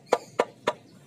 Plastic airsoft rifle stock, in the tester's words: ini popornya tuh kopong banget, jadi nggak ada apa-apa